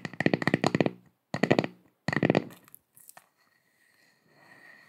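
A round, flat, solid wooden log slice coaster with visible growth rings and a bark edge, held in both hands, is scratched with long acrylic nails. Three bursts of quick, rhythmic scratching give a dry, crackly texture with a steady bright tone on top. A few faint clicks follow, then the clip fades into a soft hiss.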